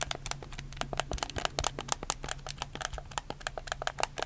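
A black, hollow plastic PS4 game controller is held in both hands while fingertips rapidly press and click its buttons and triggers. The result is a quick, irregular stream of sharp, bright plastic clicks over a faint, steady low hum.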